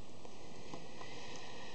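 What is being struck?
Nothing is struck.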